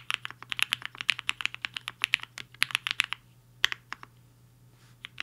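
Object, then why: Mechanical keyboard with plastic keycaps. A black-cased HI-FINGER 7.5 75% mechanical keyboard with a hollow case and white and pink plastic keycaps sits on a desk mat while the fingertips of both hands tap its keys in typing. Roughly 30 quick, sharp, bright plastic clacks with almost no ring come in a steady run for about three seconds. After a short pause, a few scattered keystrokes follow.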